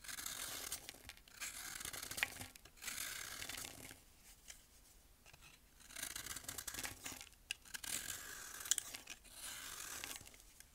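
A thin metal blade shaves down the side of a solid, pressed baking soda block about the size of a hand, held upright, releasing falling powder and flakes. Each stroke makes a bright, dry, gritty rasp, like tearing or scraping, with the strokes separated by brief quiet pauses.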